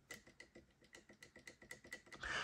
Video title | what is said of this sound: Mortice Matters: The View Within Part 8 - Fortress Picked With Running Commentary | if it's in the true gate then it's going to tap